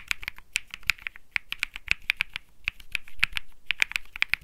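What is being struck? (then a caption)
Mechanical keyboard with aluminium case, polycarbonate plate and plastic keycaps. Fingertips type rapidly on a compact Think6.5 mechanical keyboard with Bsun Lollipop switches, an aluminum case, a PC plate and plastic keycaps, resting on a felt mat. About two dozen short, sharp clacks, each dying away almost at once, form a fast, uneven rhythm. The clicks are bright and centered around 2.3 kHz, with a light low thud beneath.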